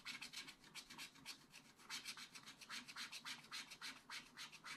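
A wooden stylus scratches a lemon shape into a black coated scratch art paper page with quick back-and-forth strokes, about three to four per second. Each stroke is a soft, bright, hissy scrape, with almost nothing in the low end.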